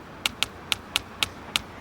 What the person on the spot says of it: you can hear the tapping through the bricks sound travels faster through bricks